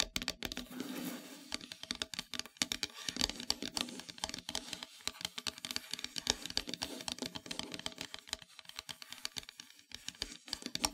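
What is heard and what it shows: Long metallic nails tap rapidly near the top of a flat, solid, dark painted wooden heart-shaped plaque. The result is a steady stream of dry, bright, clicky taps with almost no ring, over a faint scratchy rustle.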